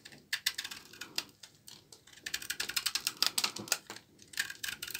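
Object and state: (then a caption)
Dry laundry soap bar. A short blade scrapes thin, brittle shavings off the face of a solid, rectangular bar of dark brown dry laundry soap held in the palm. Quick, dry, crisp scraping clicks come in uneven bursts. The sound is bright and high with almost no low end.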